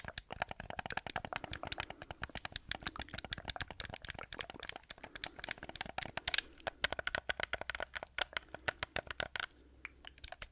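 Fingertips and nails tap and scratch the shell and buttons of a hollow black plastic PlayStation-style gamepad held in both hands close up. A rapid, dense stream of dry, bright clicks and taps runs throughout, mixed with scratchy rustling and no ringing after each hit.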